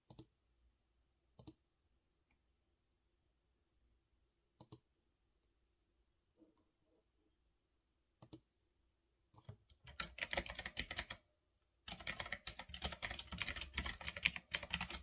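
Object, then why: Mechanical keyboard with round plastic keycaps. Fingertips press single keys on a full-size retro typewriter-style mechanical keyboard with round black plastic keycaps on a metal-look frame, giving a few sharp, isolated clicks separated by silence. Then both hands type, producing a dense, rapid stream of bright, clacky keystrokes that pauses briefly before resuming.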